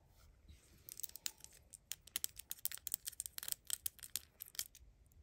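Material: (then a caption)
Plastic. A small, hollow, dark plastic soy sauce dispenser replica with a red cap is held in the fingers and tapped and scratched with long acrylic nails. The result is a quiet, rapid series of bright, crisp clicks and scratchy ticks that stop almost instantly, with almost no low end.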